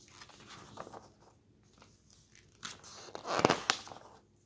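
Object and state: Glossy paper magazine pages turned.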